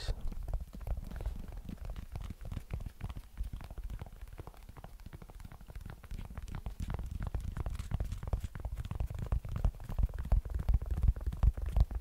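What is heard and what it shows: Fingertips and nails tap and scratch the mesh/synthetic upper of a single white Adidas sneaker with a rubber sole, held hollow and empty in the hands close to the mic. It makes a fast, uneven stream of soft, dull, low-pitched thumps and rustling scratches with very little brightness. The taps grow slightly louder toward the end.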